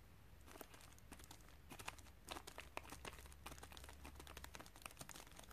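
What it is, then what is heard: Padded plastic mailer bag. A flat white padded plastic shipping mailer with bubble lining, hollow with a small parcel inside and lying on carpet, is pressed, tapped and scratched by fingertips and long dark-painted nails. Dense, quick crinkling and crackling clicks with bright, rustly edges sit over a low, steady hum.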